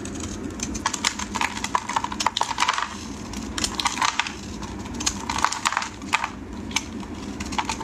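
A solid yellow bar of soap, held in hands wearing pink finger cots, is carved with a metal blade into curling slices and crumbs. A dense run of crisp, bright crackles and short scraping snaps comes in quick bursts over a soft low hum, with brief quieter gaps between strokes.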